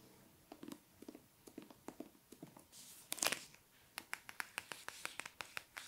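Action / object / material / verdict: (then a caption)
tap / paper hardcover book / paper / none. Fingertips and nails tap, scratch and trace along the page edges and cover of a solid hardcover copy of The Bone Houses with a paper dust jacket, held in the hands. About sixteen short, crisp, bright clicks come spaced through the clip, with a louder rasping scratch burst around the three-second mark.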